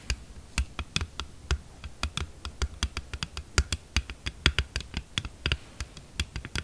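Long nails on both hands tap quickly on the back of a thin, hollow, glossy red hard plastic phone case lying flat on a table. About thirty quick, irregular taps are heard, each a short bright click over a soft low thump that dies away almost at once.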